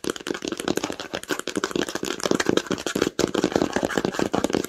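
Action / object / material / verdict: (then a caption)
tap / cloth-bound hardcover book / cloth, cardboard / none. Long acrylic nails tap quickly on the cover of a red cloth-bound hardcover book lying flat on a blanket. The taps come in a dense, uneven patter of short, dull knocks with a muted mid-range body and little ring, with a brief pause about three seconds in before the tapping resumes.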